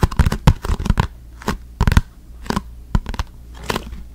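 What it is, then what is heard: Cardboard box. A small, hollow, orange printed cardboard product box is held up beside the mic and tapped and scratched with the fingertips. It makes quick clusters of dry, papery taps and scratchy rustles with a low, hollow thump beneath them. Each sound stops almost at once, with short quiet gaps between the bursts.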